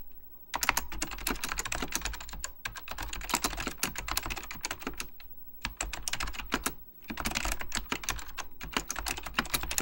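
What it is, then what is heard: Mechanical computer keyboard being typed on. Fingertips type continuously on a beige plastic full-size Apple Extended Keyboard II, pressing its hollow plastic keycaps down onto mechanical switches. Rapid bursts of sharp, bright clacks decay almost instantly, with brief pauses between runs over a steady low hum.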